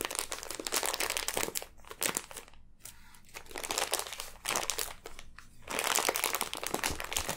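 Long nails pick, scratch and crinkle the clear plastic wrapper of a full, sealed package of pink kinetic sand, then fingers press the package. Dense, bright crinkling and scratching come in bursts separated by brief quieter gaps, with little low end.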